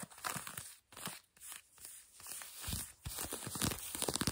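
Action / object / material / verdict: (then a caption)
scrape / denim jeans fabric / denim / none. Long glossy nails quickly scratch light blue denim jeans stretched over a bent knee. The result is a rapid, raspy, crinkly scraping with bright fabric hiss, broken into short bursts with brief pauses. Some strokes carry soft low thumps near the end.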